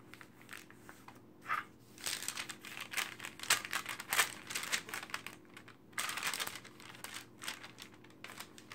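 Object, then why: Glossy paper magazine. Hands with long painted nails quickly flip the pages of an open glossy paper magazine lying on a table and smooth the spread flat. The result is bright, crisp rustling and crinkling in uneven bursts, with sharper snaps as pages turn and softer sweeps between them.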